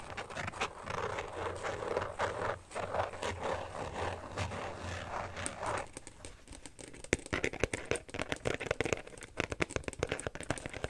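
An empty, thin hollow phone case with a woven carbon-fiber pattern back and a small red badge is scratched and tapped by fingertips and nails. The first half is a steady, dry scraping rustle across the back. It then gives way to a run of quick, sharp, clicky taps and scratches on the inside and rim that die away almost instantly.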